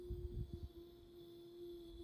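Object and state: Nothing is struck.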